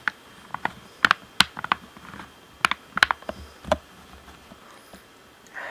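Fingertips tap the buttons and hollow shell of a black plastic Xbox One controller, making quick, dry, clicky taps in irregular bursts with a bright, hollow ring and almost no low end. Each tap dies away almost instantly, and a soft brushing rustle closes the clip.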